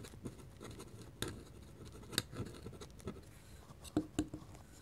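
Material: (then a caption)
Paper. A metal pen nib held in the fingertips scratches hatching lines across a flat white paper drawing sheet. The quiet, dry scratching runs continuously, with five sharper ticks standing out as the nib strikes and lifts, each dying away almost instantly.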